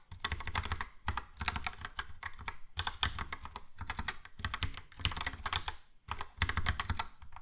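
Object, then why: Plastic mechanical keyboard. Fingertips of both hands type quickly on a Logitech POP Keys mechanical keyboard with a yellow plastic case and round plastic keycaps. Rapid bursts of clacking keystrokes come with brief pauses between them, each press pairing a deep, thocky low end with a bright plastic click that stops almost at once.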